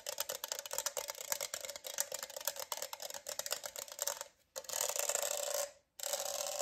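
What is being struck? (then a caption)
Plastic studded tumbler. Fingernails scratch and rub over the raised studs of a hollow rainbow studded plastic tumbler with a straw, making a rapid run of dry, bright clicks and rasps. After a short pause, a steadier hissing rub follows, then stops briefly before resuming.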